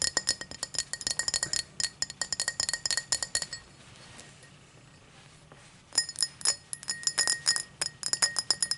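A tall drinking glass is tapped in quick runs of short, bright clinks with a high ring that dies away almost at once. About midway the tapping stops for a couple of seconds of faint, soft scraping, then the rapid glass clinks start again.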